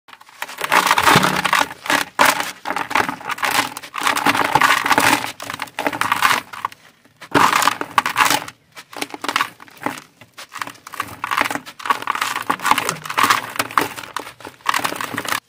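A dry, crumbly, solid sand-cement lump in a white plastic basin is crushed and rubbed apart between fingers and palms. Dense, gritty crunching and grinding comes in bursts with short pauses, bright with little low end, as loose sand pours back into the basin.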